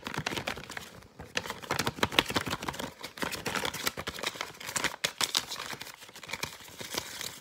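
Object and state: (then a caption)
Paper fortune teller. A folded paper fortune teller (cootie catcher) with colored panels, light and hollow, is rapidly tapped, flicked and scratched with fingertips. The result is a dense, fast stream of dry, papery clicks and scratchy crinkles that are bright and thin with little low end. Each sound dies away almost instantly, with a few brief pauses between bursts.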